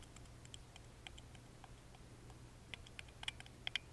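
A wooden toothpick rapidly taps and scratches the lattice-engraved side panel of a small, hollow, carved wooden music box held in the hand. Quiet, dry, bright clicks and ticks come at an irregular pace, each dying away almost instantly, with a tonal peak around 3.1 kHz. They sit over a steady low hum, and the taps grow sharper and louder toward the end.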